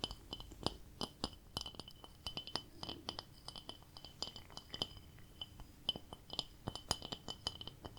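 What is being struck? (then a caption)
Ceramic plate. A ceramic plate decorated with a cat is tapped in a quick, irregular run of light, glassy clinks. Each bright tap rings high and dies away almost instantly, and the taps come in clusters of varying loudness.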